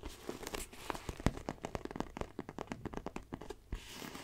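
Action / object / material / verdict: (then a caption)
tap / faux leather backpack / faux leather / none. Long nails tap and scratch the front panel of a small black pebbled faux leather backpack. A rapid run of sharp, dry clicks mixes with soft crinkly scratching. Each tap dies out almost instantly.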